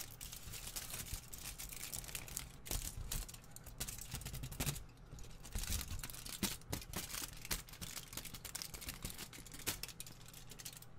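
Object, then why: Thin aluminium foil crumpled in the hand. A hand-sized piece of thin, crumpled aluminium foil is squeezed and crinkled between the fingers close to the microphone. It gives a steady stream of bright, crackling crinkles with sharp little snaps and a low rumble beneath, the crackling thinning briefly near the five-second mark before picking up again.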